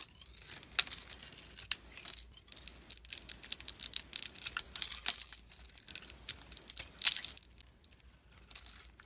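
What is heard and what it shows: A utility knife blade carves feathered curls off a solid, rounded-rectangle blue glitter soap bar held in the hand, revealing white soap underneath. The strokes make a dense run of crisp, bright scraping and shaving sounds, almost entirely high-pitched with very little low end. Each stroke is short and dry, with sharper peaks scattered throughout.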